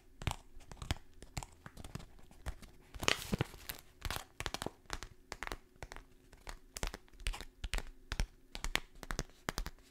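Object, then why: Kraft paper stand-up pouch. A kraft paper stand-up pouch, top open, is held close to the microphone and crinkled and scratched with fingertips and long nails. Dense, dry crackles and scratchy rustles come in quick, uneven bursts, each stopping almost at once. A faint steady low hum runs underneath.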